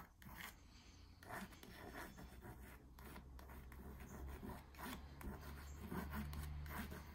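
A long nail traces, taps and scratches the smooth printed surface of a small "Coffee & Friends" stretched canvas hanging on a wall, its hollow frame behind. Soft, irregular bright rasping strokes and light taps come in quick bursts. A steady low hum sits underneath throughout.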